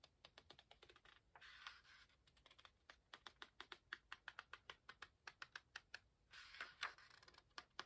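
Fingertips flick the corner of a raised paper page in an open hardcover book, producing a quiet, rapid series of crisp, bright ticks. Two longer papery rustles, as the page sweeps, break up the steady flicking.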